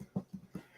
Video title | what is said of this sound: Big Sexy Cooks - Irish Soda Bread | you tap it and it sounds hollow okay if it sounds hollow you know you're done